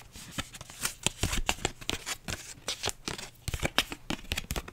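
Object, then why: Paper envelope. A flat pink paper envelope is rubbed and scratched with long nails and fingertips. The result is a dense run of dry, papery scratches and crinkly taps that flash bright across the highs. Each stroke stops short with almost no ring.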